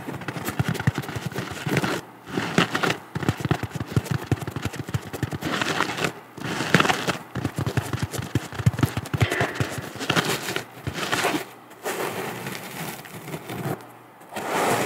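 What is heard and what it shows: A round, flat, porous yellow natural sea sponge with a cord loop is held close and scratched and tapped with long matte nails. Dense, crackly scratching and rapid soft tapping come in bursts separated by brief quiet pauses, with a low, papery body and bright rustling edges.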